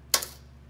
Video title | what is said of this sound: Dish With denae BAKED Okra | that little crisp you can kind of hear how crispy they got